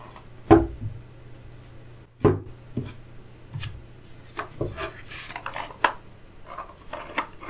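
Fingertips tap, run over and rub rows of solid turned wooden chess pieces, dark and light, lying in an open wooden chess case lined with green felt. Irregularly spaced, dull, short wooden knocks stand out over soft brushing and rubbing, with a low steady hum underneath.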